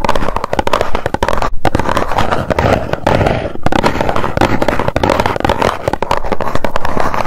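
Long nails tap rapidly on the face of a small, hollow white cardboard box held in both hands. The result is a dense, continuous patter of quick, dull clicks with a hollow, boomy low end, lasting the full seven seconds with only brief dips in the rhythm.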